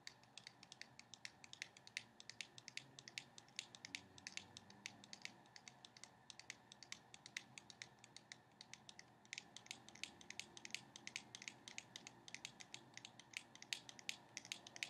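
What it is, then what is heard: Cardboard playing card box. A small, still-sealed cardboard box of playing cards is held upright and tapped with long painted nails. The result is a quiet, steady stream of quick, dry, bright clicks with almost no ring, centred around 3.8 kHz, with a brief lull near the nine-second mark before the tapping picks up again.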